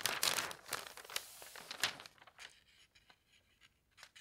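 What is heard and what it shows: Fingertips flatten and rub the pages of an open paper newspaper spread on a bed, lifting their edges. Bright, crisp crinkling and rustling comes in dense bursts for the first two seconds, then thins to soft, scattered paper scrapes and ticks over near-silence.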